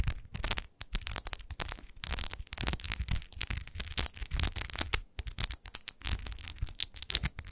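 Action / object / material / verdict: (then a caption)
scrape / textured glass bottle / glass / none. Long nails scratch the textured glass base of a large, hollow, rose-shaped glass wine bottle with rose relief, lying on fur, in fast strokes. The result is a dense run of bright, hissy scraping bursts with a dull low thump beneath, broken by brief silent gaps, with no ringing after each stroke.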